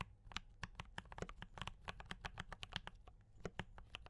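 Fingertips of both hands type continuously on a D84 mechanical keyboard with tactile brown switches, cream and red plastic keycaps and a foam-dampened case. A steady run of quick, dry clacks and taps, each with a bright top, fades almost instantly over a low thud.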